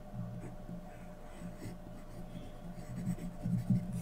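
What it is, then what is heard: Pencil drawing on paper. A graphite pencil scratches fine detail strokes around the eyes and mask of a drawing on a thin sheet of white drawing paper resting on a flat surface. The sound is a soft, steady, low-weighted scratching with a faint hum underneath, growing slightly louder with a few sharper strokes toward the end.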